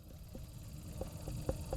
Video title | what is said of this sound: Homegrown fruits 08/26/2023 | has that solid thud to it, which means it's not ready